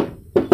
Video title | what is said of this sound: Cek Unit Mobil Bekas Suzuki Sidekick Drag-1 Tahun 2000 | kalau dari bodi samping ini juga ngaleng, atas bawah